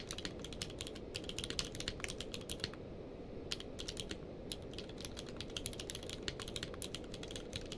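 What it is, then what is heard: Plastic mechanical keyboard. Both hands type rapidly with fingertips on a full-size plastic mechanical keyboard with a blue-grey case and white and grey keycaps, resting on a blanket. Quick, bright, sharp clicks fall in dense bursts, with a brief pause near the middle, over a steady low-level rumble. Each key press is short and dies away almost at once.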